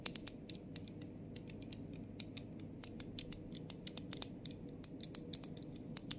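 Long nails tap on the clear cap and the back label of a plastic body mist bottle. A rapid, uneven series of short, dry, bright clicks and ticks sits over a soft, steady low hum. Each tap dies away almost instantly.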